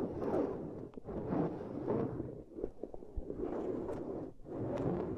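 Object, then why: Ridged silicone pad. Long nails scratch quickly across a ridged black silicone pad, solid and flat, resting on cork coasters. The result is dense, rasping scratches in repeated swelling passes, with a few sharper ticks between them, mostly warm low-mid texture with little brightness.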